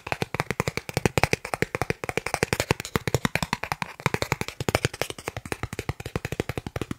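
A thin, solid, credit-card-sized green plastic gift card is tapped rapidly with the fingertips of the other hand. The result is a fast, steady stream of short, dry clicking taps with a low thump beneath a brighter crackle, each tap dying away almost instantly.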